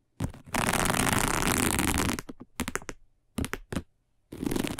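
Long nails scratch a round, flat, dark woven plastic placemat, making a broad, raspy, noisy scrape. A short rub is followed by a long, steady, full-band scratch, then several quick bursts of scraping with brief silences between them. A final sustained scratch ends the clip.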